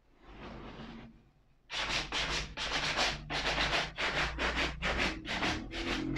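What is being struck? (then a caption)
Suede leather ankle boot. A hand brushes the upper of a hollow, empty black suede leather ankle boot with a small wooden-handled suede brush. A faint, softer rub comes first, then after a short pause nine quick, bright, scratchy brushing strokes follow in a brisk, uneven rhythm.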